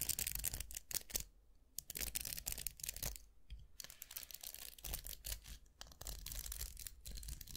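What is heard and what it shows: Fingertips scratch and flick the plastic bristles of a round styling brush with a vented metal barrel, making a dense run of quick, bright, crackly scratches and ticks. The sound breaks off briefly twice, and a steady low hum sits underneath throughout.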